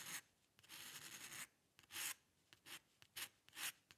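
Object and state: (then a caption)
Pen nib scratching on paper. A metal-nib dip pen scratches long, curved ink lines across a single white sheet of paper. A long, steady scratching stroke is followed by a series of shorter, bright, rasping strokes with quiet gaps between them. The sound is high and papery, with almost no low end.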